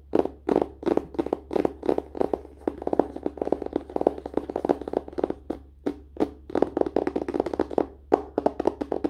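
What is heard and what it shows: Fingers tap rapidly on a book's paper and cover in quick, dry bursts, each tap short and muted with almost no ring. The taps come in fast clusters and rolling runs with brief pauses between them.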